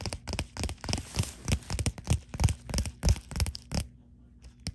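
Long glitter and dark fingernails scratch and tap quickly over the bubbles of a white bubble-textured plastic poly mailer. The result is a fast, uneven run of short, dry, crinkly taps and scratchy bursts with a soft low thump under each. The activity fades to a few faint taps near the end.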